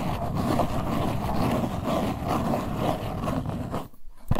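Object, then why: Small cardboard box. Long white nails scratch the faces of a small printed LuLuLun Cleansing Balm cardboard box held in both hands. The result is a steady, low-heavy rough scratching that runs almost continuously, drops out briefly near the end, then returns with a short louder scrape.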